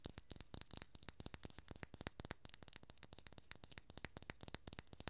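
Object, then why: Small glass bottle with metal cap. A small, full glass serum bottle with a gold cap is tapped and scratched with long nails. The result is a quick, irregular run of dozens of sharp clicks and ticks, each with a bright, high glassy ping that dies away almost instantly, over a soft low scratching rustle.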